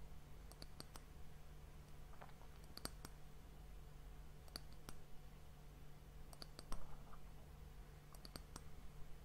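Long fingernails tap and scratch the flat top of a round, solid, glossy brown wooden disc that caps a glass sand timer, held close to the recorder. Quiet, sharp, bright clicks come in small clusters with brief scratchy textures between them, each dying away almost instantly. A steady low hum around 82 Hz runs underneath throughout.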